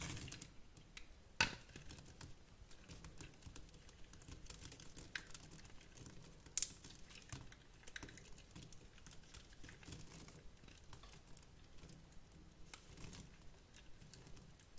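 A box-cutter blade scores and cuts a grid into the surface of a solid, hand-sized, translucent teal glycerin soap bar held in the hand, shaving off small chips. It makes a quiet, steady run of crisp, bright scratching and tiny clicking taps. Two sharper snaps stand out early and near the middle.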